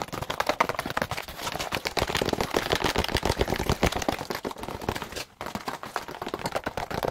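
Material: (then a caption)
Plastic. A white molded plastic egg carton, hollow with a bumpy egg-cup surface and held flat, is rapidly tapped and scratched with long pointed acrylic nails. The result is a dense stream of sharp, dry plastic clicks and scratchy rasps with almost no ring, broken by a brief pause just past the five-second mark.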